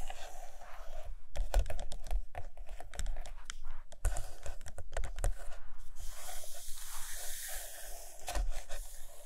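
Long acrylic nails tap and scratch across the glossy paper pages of a large open hardcover photo book lying on a carpet. Quick, dry clicks come in uneven clusters between bright, papery scraping strokes, with a steady soft hiss underneath.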